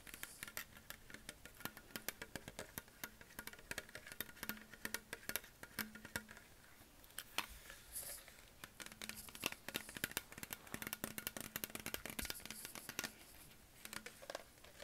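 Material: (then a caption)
Plastic. A hollow green Perrier PET plastic sparkling water bottle is tapped and scratched with fingertips and nails on its body and label. Quiet, rapid, bright clicks and taps patter in a dense, irregular stream, broken by short scratchy swipes. A faint low steady tone sits underneath.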